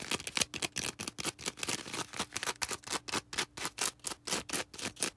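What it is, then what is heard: Foam sponge scratched with nails. A small, soft, porous star-shaped green foam sponge is held in the hands and scratched with long red acrylic nails. About two dozen quick, bright, scratchy strokes come in a fast, slightly uneven rhythm, each a short rasping burst with almost no low end and no ring after it.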